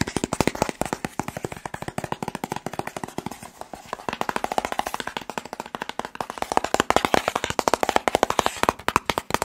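Fingertips tap rapidly and steadily along the sides of a long, hollow, white and blue printed cardboard box. Each tap is a short, dry, hollow knock centered around 1 kHz with almost no ring. The taps run in a dense, continuous patter for the whole clip.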